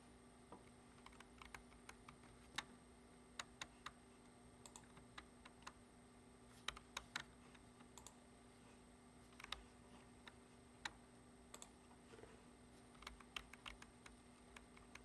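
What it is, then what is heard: Plastic computer keyboard being typed on. Fingertips tap the keys of a black plastic computer keyboard resting on a wooden desk, briefly lit pink, in a typing motion. Quiet, short, bright clicks come in uneven bursts with almost no ring, over a steady low hum and a faint high whine.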